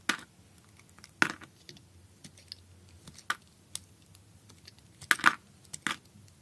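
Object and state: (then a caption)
Bar of soap being cut. A solid piece of speckled blue bar soap is held in the hand while a utility knife blade cuts chunks off it. Sharp, dry cracks and crunches occur in scattered bursts, with the loudest snaps near the start and end. Each one dies away almost instantly over a quiet background.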